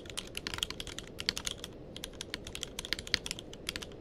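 Fingertips of both hands type continuously on a tenkeyless mechanical keyboard with plastic keycaps. The result is a rapid, steady stream of short, bright clicks with very little ring, over a low, quiet background hiss.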